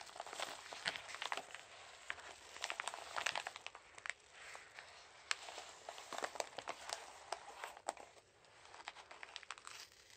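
Gloved hands squeeze, crumple and rub a hollow Jiffy Airkraft size 2 padded mailer envelope, which has a paper outer and a bubble lining and holds a parcel, then start working at its flap. The result is dense, bright paper crinkling and crackling with many sharp, quickly fading snaps. There is almost no low end, and quieter rustling comes between the bursts.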